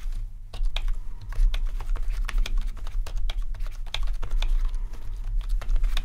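Both hands type with their fingertips on a full-size, low-profile plastic membrane keyboard with rainbow RGB backlighting. Quick, dry, bright key clacks tumble in an uneven stream over a steady low hum. Each tap dies away almost instantly.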